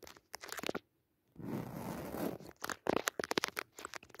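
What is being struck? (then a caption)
Padded woven fabric cushion. Long nails scratch and tap the weave of a soft, padded woven jacquard fabric cushion with a red leaf pattern. Quick, crisp scratching bursts give way to a brief silence, then a sustained rasping rub across the fabric, and finally a rapid series of dry, close taps and scratches. The sound stays quiet and short, with no ringing after each hit.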